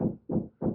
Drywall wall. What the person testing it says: that sounds even more hollow